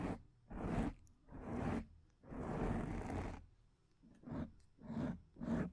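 Long dark painted nails scratch and rub a large, rounded, soft and porous black foam windscreen on a microphone with both hands. Repeated swelling bursts of crackly, rustling scratching carry a heavy, boomy low rumble, separated by brief near-silent pauses.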